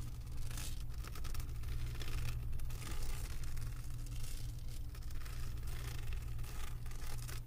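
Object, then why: Resin diamond painting drills on canvas board. Long acrylic nails scratch back and forth over the bumpy surface of a flat diamond painting made of resin drills on a canvas board. The result is a steady, crackly scraping with a bright rustling texture, sitting over a constant low hum.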